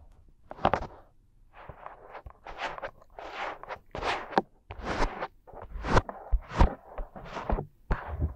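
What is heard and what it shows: Fingertips and thumbs rub, press and pinch the two small soft silicone ear shapes of a 3Dio binaural microphone. The result is irregular bursts of close, muffled rubbing and crackling friction that swell and fade, with dull low thumps where the ears are pressed.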